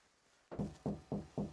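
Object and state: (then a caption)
Hollow stud partition wall. Four knocks on a hollow interior stud partition wall between two bedrooms give short, dull, hollow thuds centred around 200 Hz that die away quickly. The wall could be knocked through to make one big double bedroom.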